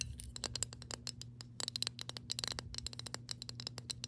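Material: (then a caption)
Metal. Long pink nails tap and scratch the flat gold-toned metal screw lid and its ring on a glass mason jar of water held upright. A rapid, uneven stream of sharp, bright metallic clicks and scrapes sounds over a faint steady low hum, each click dying away almost instantly.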